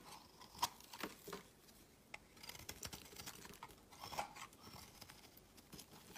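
A solid rectangular bar of cream-white soap, held in the hand, is shaved with a metal utility knife blade, sending curls and shavings onto a woven mat. Quiet, crisp scraping and carving strokes come in irregular bursts, with soft bright crackle and a few sharper ticks as the blade cuts.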